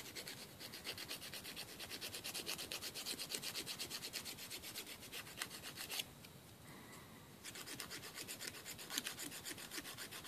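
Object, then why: Emery board nail file on fingernails. A thin, flat, solid emery board nail file, held in one hand, is rubbed quickly back and forth against the fingernails of the other hand. The filing makes a steady run of dry, bright, raspy strokes, at roughly three strokes per second. The strokes pause briefly to a quiet hiss around the middle before the filing resumes.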